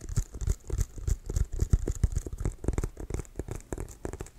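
Fingertips tap and scratch quickly across the pebbled surface of a brown leather American football with white stripes, hollow and inflated. The result is a fast, uneven patter of dull, low, hollow thumps that die away almost at once, with a faint bright scratchy hiss between them.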